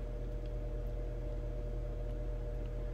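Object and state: Nothing is struck.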